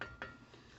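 A metal muffler on a lawn mower engine is tapped twice, giving two short metallic clinks with a ringing tone near 1.4 kHz that fades quickly. The muffler sounds solid and still in pretty good shape, though it is due to be re-welded or replaced.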